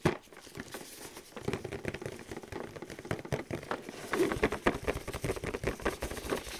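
Fingers in thin clear plastic gloves tap and scratch fast across the front of a flat printed cardboard box from a velociraptor excavation kit, about 30 cm wide, held upright in both hands. The result is a quiet, dense patter of short, dry taps with a hollow tone around 360 Hz, mixed with scratchy rustling and faint crinkling.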